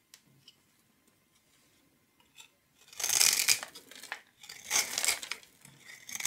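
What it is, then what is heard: Bar of soap scraped into cubes. A metal knife blade scrapes and shaves small cubes off the surface of a solid, palm-sized purple bar of soap that is pre-scored into a grid and held in one hand. After a near-silent opening with a few faint ticks, dense, bright, crisp scraping and crumbling bursts begin around the three-second mark. They swell twice and carry on to the end.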